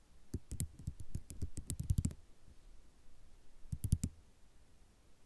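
Long nail tips click and tap on a flat sheet of small white ceramic mosaic tiles. A quick run of sharp, dry clicks with a low knock lasts about two seconds, then after a pause a second short burst of taps follows, each tap dying away instantly against a quiet background.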